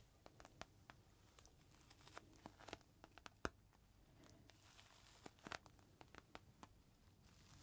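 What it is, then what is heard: Plastic bag with cloth inside, crinkled. A small clear plastic bag holding a folded green microfiber cloth is held upright and squeezed in both hands while fingertips crinkle and scratch the plastic. Quiet, steady rustling is broken by many short, sharp crackles and snaps spread across the clip, with the loudest snap about halfway through. Each crackle is bright and broadband and dies away almost instantly.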